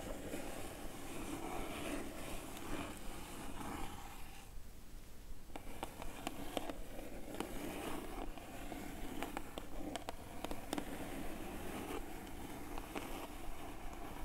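A small, hollow, closed Sips by mailer box of printed cardboard, kraft with a black top, lies on a red cloth while long matte dark stiletto nails tap and scratch across its top surface. Soft, dry scraping runs throughout, broken by sharp clicking taps and a brief quieter stretch near the middle.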